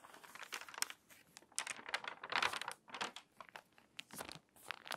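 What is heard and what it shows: Fingertips and long nails rub the stiff, crinkly pages of a water-damaged paper magazine, then turn a page. Dry, bright crinkling and crackling come in quick bursts with short pauses between, with a louder rustle as the page turns.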